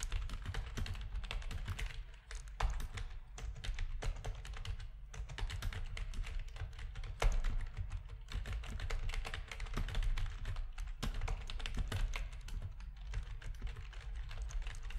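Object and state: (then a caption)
Plastic computer keyboard. Fingertips of both hands type rapidly on a full-size black plastic RGB-backlit Corsair rubber-dome keyboard with a hollow plastic housing, resting on a desk. A dense, steady stream of quick, short clicks and taps carries a heavy low thump beneath each keystroke, with only a faint bright edge. Each tap dies away almost instantly, with a few louder strikes standing out along the way.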